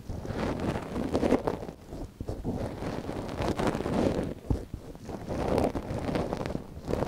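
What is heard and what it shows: A thin wooden ear pick, held in a gloved hand, scratches inside the canal of a small, hollow white silicone dummy ear on a binaural microphone. The result is close, muffled rustling and scraping, heavy in the lows and low mids with almost no bright content. It swells and fades in uneven waves with brief dips between strokes.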